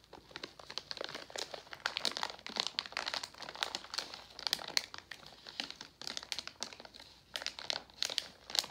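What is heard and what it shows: A medium resealable Jolly Rancher Gummies plastic foil candy pouch, partly full of gummies, is held and squeezed with the fingertips. It gives a steady run of dry, bright crinkling bursts with almost no low end and no ringing after each squeeze.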